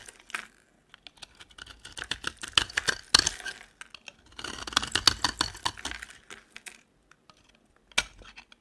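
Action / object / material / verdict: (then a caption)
scrape / soap bar scraped with a metal blade / soap / none. A metal utility knife blade shaves and scrapes flakes off a solid, rectangular, dry yellow soap bar with foil wrapping on its sides, held in the hand. Bursts of crisp, bright, crackly scraping come in irregular runs separated by short pauses, with a louder flurry near the middle and a final sharp scrape near the end.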